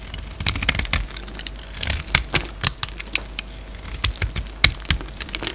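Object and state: Bar of soap being cut.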